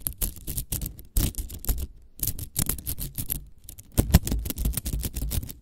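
A small hollow spiral cat toy made of nested green and yellow plastic coils is held in the hands close to the mic while long acrylic nails scratch and tap along the coils. Rapid bursts of dry, crackly scratching and clicking come in uneven clusters, with a soft low thump beneath the bright edges. Each tap dies away almost instantly, leaving brief quiet gaps between the flurries.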